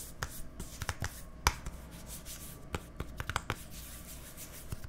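Fingernails scratch and rub the printed white label and body of a small hollow plastic deodorant stick container with a green cap, held close to the microphones, with some light taps. Quiet, papery scratching runs under about thirteen short, sharp clicks and taps that die out almost instantly, with a faint low hum beneath.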